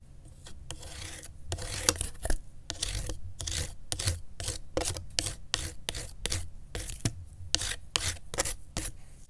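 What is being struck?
Corrugated cardboard sheet.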